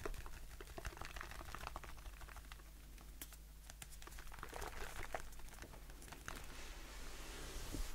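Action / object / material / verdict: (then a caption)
tap / aluminium aerosol can / aluminium / none. A blue aluminium aerosol shaving foam can, held upright, is tapped on its side with fingertips and short nails. The result is a quiet run of soft, quick clicking taps with brief bright ticks, over a steady low hum.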